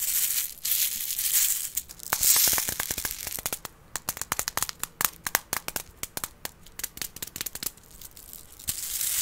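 A small container with beads inside is handled, giving bright, dry rattling clicks as the beads shift. Soft hissy swishes open and close the clip, with a dense run of sharp ticks in the middle.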